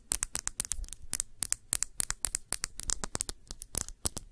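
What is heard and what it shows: Long nails scratch and tap the glass body of a round glass perfume bottle with a blue cap, partly filled with blue liquid. The result is a rapid, uneven series of sharp, dry clicks and brief scratches with a bright, high glassy tick and almost no ring.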